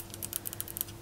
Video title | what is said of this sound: ASMR * Tapping in an Egyptian Souvenir Store! * Fast Tapping & Scratching * Soft Spoken * ASMRVilla | this is alabaster. Alabaster is famous in Egypt.